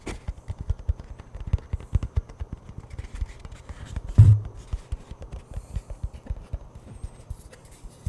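Fingers tap and knock rapidly on the plastic lid and along the side of a hollow cardboard Pringles chip can, producing a steady stream of quick, dull, hollow thumps with a low resonance around 100 Hz. About 33 short knocks are heard, with one noticeably louder, boomier knock just past the four-second mark.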